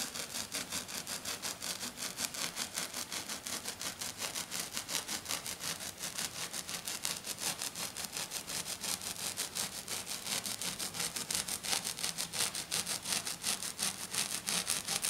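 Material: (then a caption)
Glitter. Fingernails of one hand scratch fast and steadily across a flat silver glitter sheet lying on a table. The result is a continuous stream of short, bright, crackly scraping strokes with almost no low end, and it grows slightly louder toward the end.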